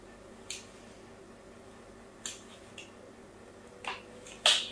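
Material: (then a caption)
Soap. A fine blade scores a crosshatch pattern into a solid pink soap bar held in the hand. Short, crisp, bright scraping clicks come at irregular intervals over a quiet background, with the last cut the loudest.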